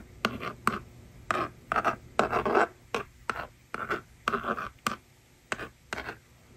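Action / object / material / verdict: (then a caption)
scrape / plastic magnetic drawing board and plastic stylus / plastic / none. A yellow plastic stylus scratches rows of numbers onto the honeycomb screen of a small plastic toy magnetic drawing board resting on a table. Short, dry scratching strokes come in quick bursts separated by brief pauses, with a mid-range rasp and little low end.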